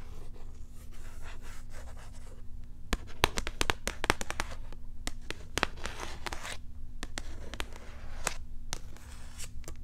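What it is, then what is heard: Cat toy blister pack scratched with nails. A cat toy in a small, hollow cardboard-and-plastic blister pack is held near the mic and rubbed and scratched with long nails. Soft scratchy rustling gives way to a run of sharp, crinkly clicks and scrapes with bright edges, over a steady low hum.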